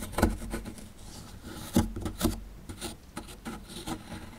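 A small dark chisel tool lightly scrapes the surface of a small solid plaster fossil dig block. Soft, gritty scratching and rasping strokes are broken by a few louder, sharper scrapes. Each stroke stops quickly with little ring.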